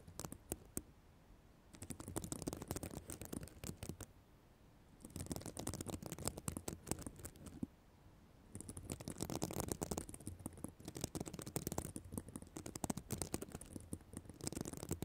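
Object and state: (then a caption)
Sequin fabric cover scratched by nails. Long black nails scratch and brush the plastic sequin fabric surface of a reversible sequin notebook cover. A few isolated clicks come first, then bursts of dense, bright, crackling scratches with a soft low rumble beneath, broken by short quiet pauses.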